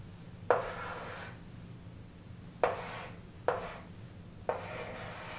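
A stick of chalk writes and draws a wavy line on a large wall-mounted chalkboard with an aluminium frame, rubbing and scratching across the flat board surface. Four sharp chalk taps start separate strokes, each followed by a dry, airy scrape with a mid-pitched bite and a faint high hiss. A low steady hum sits underneath.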